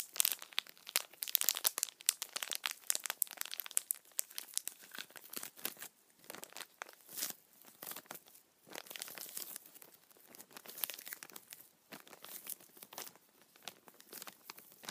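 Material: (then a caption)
Plastic. A small, empty, clear thin plastic bag is held upright in one hand while the fingers crumple and crinkle it. The result is a dense, continuous stream of sharp, bright crackles and rustles with almost no low end, busiest in the first few seconds and then coming in softer bursts with brief quiet gaps.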